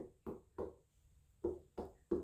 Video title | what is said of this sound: How to Choose the BEST ripe Watermelon in the store | that really sounds Hollow